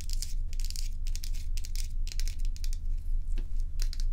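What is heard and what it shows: Long pointed nails scratch and tap the frosted surface of a large, solid, dome-shaped ice block held tilted in the hands. Quick, bright, crackly scrapes come in irregular bursts over a steady low hum, with a few sharper taps standing out near the end.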